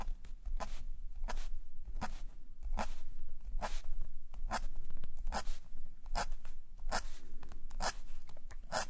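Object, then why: Metal nib pen on a paper sketchbook page. A metal calligraphy nib pen, held in a gloved hand, scratches across a thin black paper page of a sketchbook lying flat on a table as ink lines are drawn. The result is steady, dry scratching, with short, bright, crisp strokes recurring every fraction of a second over a faint low hum.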